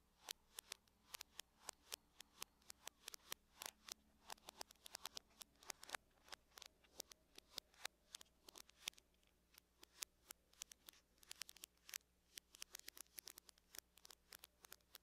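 Long fingernails on both hands tap rapidly on the lid of a closed silver aluminum laptop with a hollow shell. Dozens of quiet, sharp, bright clicks come in quick, uneven bursts, each dying out almost instantly, over a faint steady low hum.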